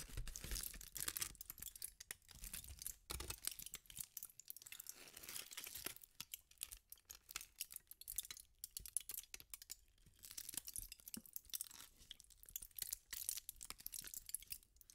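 A thin sheet of aluminum foil is twisted and crumpled by fingertips with pink nails. It makes a dense, quiet run of bright, crisp crinkles and crackles with brief pauses between bursts.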